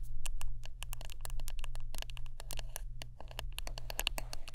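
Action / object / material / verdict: tap / wooden brush / wood / none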